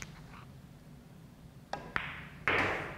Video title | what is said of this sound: Joss Pool Cue Review | these triangle tips are they're good tips but they're very hard so that's where you're getting that sound